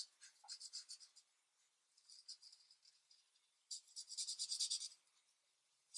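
The felt tip of a plastic alcohol marker, held in fingers with long nails, colors a single sheet of paper coloring page lying flat on a thin light pad on a desk with short back-and-forth strokes. The result is quiet, bright, papery scratching swishes in quick bursts, grouped into three runs separated by brief pauses, with nothing in the low end.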